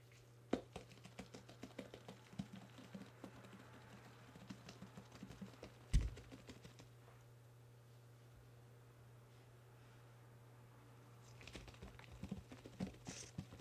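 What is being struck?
Fresh green bell pepper.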